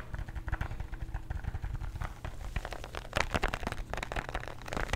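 A small plastic bottle of calcium antacid tablets with a blue cap, partly filled with tablets, is tapped with nails and shaken. Fast, dense clicking taps mix with the rattle of tablets over a steady low hum, growing busier and louder in the second half.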